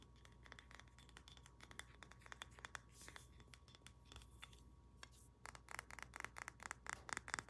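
Long nails tap and scratch quickly across the head and body of a solid carved wooden pig figurine with a polished, golden-looking finish. Short, dry, bright clicks mix with soft scratching over a faint low hum. The taps grow denser and louder toward the end.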